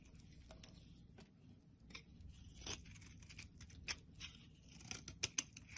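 A blade scrapes and shaves the top edge of a rectangular solid white soap bar, making a series of crisp, bright cuts with short scratchy rasps. The cuts are quiet and dry with almost no ring, over a faint low background rumble, and the sharpest snips come near the end.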